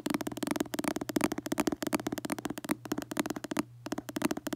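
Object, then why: Paperback book cover, coated card. Fingertips and short nails rapidly tap and scratch the glossy red cover of a paperback book held in both hands. The result is a dense run of short, dry clicks with very quick decay and a low midrange body, over a faint steady low hum. The sound pauses briefly near the end.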